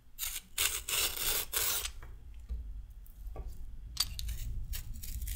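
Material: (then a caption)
Carrot. A red-handled metal peeler is scraped along a solid raw carrot, taking off thin strips. Several rough, bright rasping strokes sweep across the clip, each a short burst of scratchy noise over a steady low rumble, with quieter gaps between the strokes.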